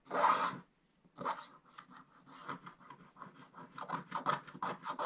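A wooden stylus scratches the black coating off a scratch-art paper page lying flat. A loud first scrape is followed by a short pause, then a steady run of short, dry rasping strokes centered in the midrange with a bright hiss on top.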